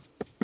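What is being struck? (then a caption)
Birch wood sleeping platform. Two hollow knocks on the front of a birch wood sleeping platform built into the trunk of a Skoda Enyaq, each a short, dull, woody thud that dies away almost instantly. The front has no support pillar underneath, leaving the space free for luggage.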